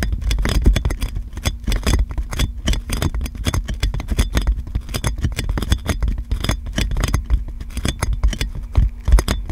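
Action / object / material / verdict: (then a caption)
tap / plastic cling film wrapped around a metal microphone / plastic film / none. Long nails tap and scratch clear plastic cling film wrapped around a metal microphone, making a dense, rapid stream of crinkly clicks and taps. Each tap lands with a heavy, boomy low thump, with bright plasticky crackle on top and a faint steady low tone underneath.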